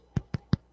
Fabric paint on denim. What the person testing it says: i'm tapping the dry paint yes it's like plastic